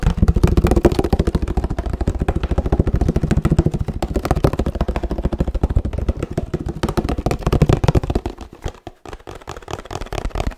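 Fingertips tap rapidly on the bottom and sides of a 1 L laminated paperboard oat milk carton, producing a fast, uneven stream of short, dull, low thuds with almost no ring. The tapping stays dense and fairly loud, then grows softer and sparser near the end.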